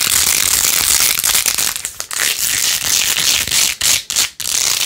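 Long acrylic nails scratch fast across the rows of pink faux-pearl beads covering a small hand-held phone case with a rose-gold plastic rim. The result is a dense, bright, crackling rasp with almost no low end, running steadily with a few brief dips near the end.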